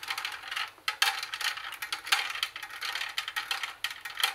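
Long nails tap the plastic buttons and scratch the metal mesh speaker grille of a hollow plastic CD and cassette boombox. The result is a steady run of quick, bright clicks and scratchy rasps, with sharper taps standing out, a short dry ring, and no low end.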